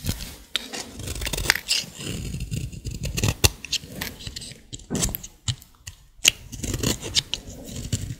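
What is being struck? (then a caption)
Bar of soap. A solid green bar of dry soap is carved with a utility blade while held in fingers with long nails. Repeated crisp scraping and cutting strokes ring out with bright, crackly edges, each short and dry with almost no ring.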